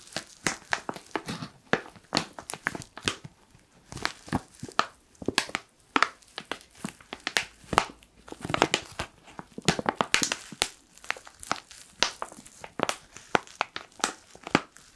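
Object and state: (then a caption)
Foil coffee bag. A black foil coffee pouch is crinkled and scratched with fingertips. Dense bursts of sharp, bright crinkling and crackling follow one another with short pauses, with little low end and no ringing after each crinkle.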